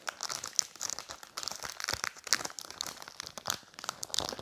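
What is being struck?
Thin plastic bag holding a phone case.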